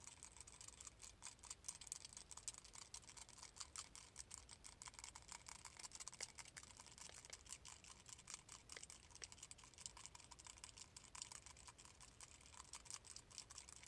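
A small, palm-sized silver metal Death Star ball, possibly a grinder, is held in both hands and tapped rapidly with fingertips and short nails. The result is a quiet, continuous stream of light, bright clicking taps, mostly high-pitched with a sharp metallic tick and almost no ring after each hit.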